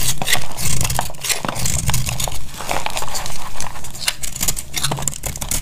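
A utility knife blade carves a solid, hand-sized, coral-red bar of dry soap, held with long pink nails, and brittle flakes crack off. Quick, uneven scraping cuts follow one another, each a dry crackle with bright edges over a low, dull body. The sound is short and stops almost at once.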